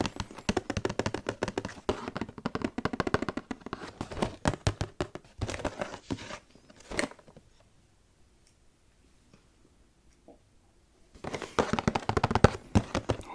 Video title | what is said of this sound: ASMR Collab With @slipintoshadowsasmr479 Tapping & Whispering Ramble | The bottom of the box makes the best sound for me, I think.